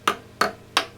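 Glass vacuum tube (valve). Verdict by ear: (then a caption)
Non-microphonic. Glass vacuum tubes in a Marshall JCM2000 TSL amplifier are tapped after the microphonic valve was replaced with a JJ valve, giving four short, dry ticks with a brief ring. The microphonic ringing is gone; the noise had been carried over from the faulty valve.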